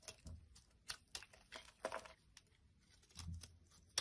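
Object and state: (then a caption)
Bar of soap being scraped. A metal blade scrapes and chips flakes off a solid, palm-sized rectangular blue bar of soap held in the hand over a wooden surface. About nine short, crisp, bright scraping and chipping strokes sound quietly, with faint low thuds between them.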